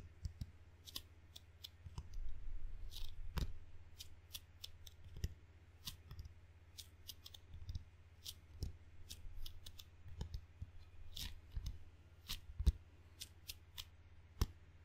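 Flat fingertips rapidly tap and peel on the black sticky rubber face of a rubber-faced wooden table tennis paddle. The result is a quick string of short, dry, bright clicks and tacky snaps that cut off almost instantly. A steady low hum runs underneath throughout.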